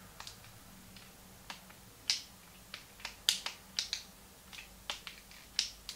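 Fingertips repeatedly click the plastic buttons of a small, hollow, translucent pink plastic Game Boy Advance held in both hands. Fifteen short, bright, dry clicks come at an irregular pace over a faint low hum, each dying away almost instantly.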